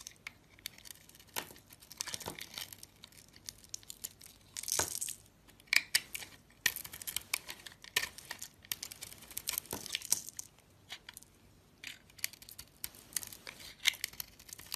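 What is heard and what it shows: A box-cutter blade slices thick curls from a solid, rectangular peach soap bar with pink glitter edges, held in the fingers. The sound is a run of quiet, crisp scraping and crackling strokes, bright and thin with almost no low end, with a few louder tearing cuts standing out.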